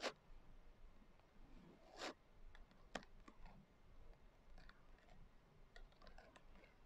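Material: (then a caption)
Glitter, cardboard. Long nail tips tap and scratch the coarse glitter cover of a closed hardcover journal. The result is quiet, irregular, dry clicks and short scratchy rasps, with a few louder sharp taps standing out against a low background hum.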